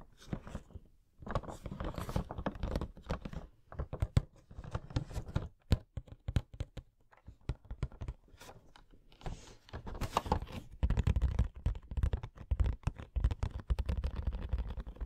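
Fingernails tap and scratch across the faces of a hollow, printed cardboard Coca-Cola Funko Pop box with the figure inside. The result is a dense run of quick, dull, low taps mixed with dry scratching and crinkling, with brief pauses between bursts.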